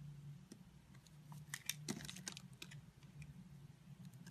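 A utility blade scrapes and cuts small cubes from a solid rectangular orange and white striped soap bar held in the hand. Quick, irregular, crisp clicks and light scraping snaps ring bright and die away almost at once, over a steady low hum.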